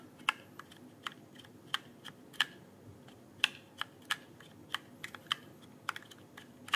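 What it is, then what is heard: Plastic mechanical keyboard. Fingertips press and tap the plastic keycaps of a full-size RGB-backlit mechanical keyboard with hollow-sounding switches, resting in front of the microphone, in a steady typing motion. About 15 sharp, bright clacks stand apart over a quiet background, each centered near 2.7 kHz and dying away almost instantly with no low thump.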